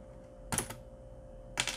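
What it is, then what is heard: Mechanical keyboard key clicks. Fingertips press the keys and exposed red plastic switches of a Corsair mechanical keyboard with several keycaps removed, the switches seated on a metal plate. The result is a quick cluster of sharp, bright typing clacks, a pause, then another burst, over a faint steady hum.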